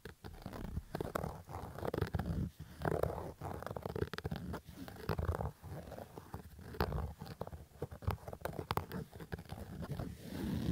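A black Adidas fabric baseball cap is scratched and rubbed with fingertips and nails. It makes a steady run of dull, low, crackly scraping and rustling with many short bursts and almost no bright edge.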